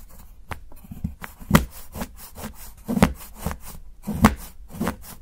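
A steel knife shaves the edge of a solid dark chocolate bar held by fingertips, chopping with steady strokes. Each stroke lands as a short, dry, crisp cut with a soft low thud, fading almost at once. Quieter scraping fills the gaps between the cuts.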